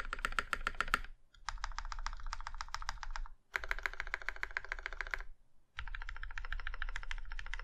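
A compact Iron 165 mechanical keyboard with a plum-red aluminum case and black keycaps is typed on with two hands, then one fingertip presses the spacebar and a hand presses the modifier keys. Rapid, clacky keystrokes come in four bursts separated by short pauses, each with a deep thock underneath a sharp, bright click.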